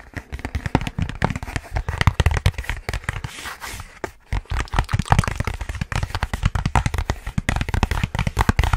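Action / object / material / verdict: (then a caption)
tap / cardboard box / cardboard / none. A long, hollow, rectangular white cardboard box is held upright and tapped fast and hard with fingertips and short nails. The result is a dense, irregular stream of short, dry taps with deep, hollow thumps underneath and faint bright clicking. The tapping eases briefly in the middle before picking up again at full pace.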